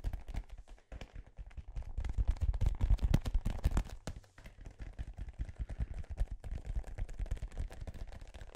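A small, hollow, inflated dark-blue synthetic-leather soccer ball with sticker labels is held close to the microphone and tapped and scratched with fingertips and nails. The result is a dense, irregular run of quick, deep, hollow thumps that die away almost instantly, mixed with a faint scratchy rustle.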